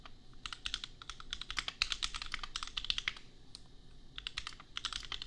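Fingertips type on a compact $250 custom mechanical keyboard with Gateron Milky Yellow switches and red and pink plastic keycaps. Rapid, bright, clacky keystrokes come in quick bursts with a short pause near the end, each click sharp and dying away almost instantly.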